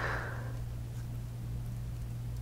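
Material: Nothing is struck.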